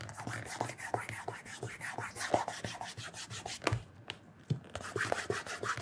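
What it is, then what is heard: Leather shoe upper being rubbed. Bare fingertips rub the leather upper of a black leather loafer fitted with a wooden shoe tree and lying on its side on a counter. Quick, repeated soft rubbing strokes carry a low thump and small squeaky accents, with a brief quieter pause around the four-second mark before the rubbing resumes.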